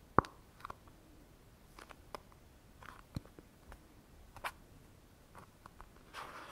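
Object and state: Plastic cosmetic tube.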